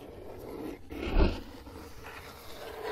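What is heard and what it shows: Fingertips tap and scratch the top of a closed, hollow brown corrugated cardboard box resting on carpet. Soft, rustling scratches surround a single low, dull tap that thumps briefly and dies away quickly.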